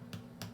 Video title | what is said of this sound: Sourdough from Start to Finish Part 2 | having just come out of the oven, very hard